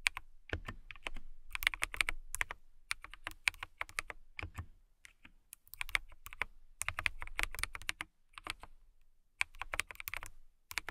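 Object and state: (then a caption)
Clear acrylic mechanical keyboard being typed on. Long nails and fingertips type on a transparent acrylic mechanical keyboard with clear plastic keycaps. Fast, bright, clicky keystrokes come in bursts with short pauses between them. Each clack is crisp and dies away almost at once.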